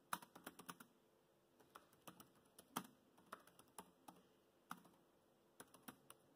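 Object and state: Plastic laptop keyboard.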